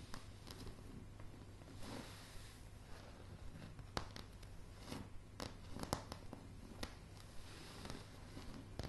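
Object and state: Wooden plank floor.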